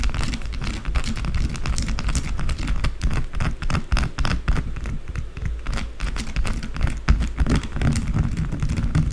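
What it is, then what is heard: Bar of soap. A small solid white bar of soap is scratched quickly with long blue acrylic nails. The result is a dense, continuous run of rough scraping with a heavy low rumble and thin, brittle bright edges. The scratches come too fast to separate.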